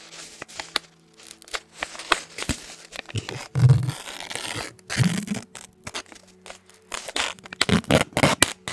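A small white paper napkin or tissue is held in both hands close to the microphone and crinkled and rubbed by the fingertips. It makes a dense series of short crackling, tearing-like rustles with bright high hiss. A few fuller, louder crumples stand out among them.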